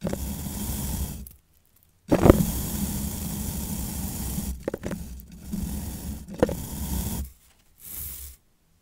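Fingertips and long nails rub and strum through the white and turquoise nylon bristles of a long plastic bottle-cleaning brush on a twisted wire. The result is a dense, low, scratchy rustle in steady bursts, broken by brief silences and a few sharper flicks as the bristles snap back.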